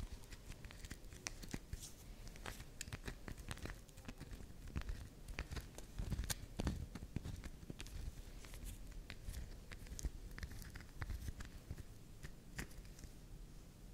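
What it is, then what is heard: Soft bar soap. Long nails scrape, tap and carve the edge of a soft, round pink swirl bar of soap held upright, shaving off soft flakes. The clip is a steady, close stream of crackly scratching and crumbly crunching, dotted with sharp, bright clicks over a low, muffled rumble.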